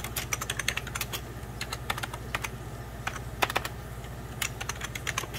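Fingertips type and tap on the keys of a hollow, beige plastic 1990s Packard Bell computer keyboard. Quick, irregular bursts of short, bright, clicky keystrokes fall over a steady low hum, with each click dying away almost instantly.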